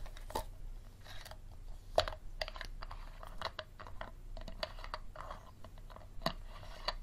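Fingernails tap and scratch the textured sides of an empty, hollow clear plastic water bottle with a green cap, which is held and turned over a table. Quiet, sharp, hollow clicks ring briefly around a mid pitch and are mixed with dry, crinkly scratching over a steady low background rumble.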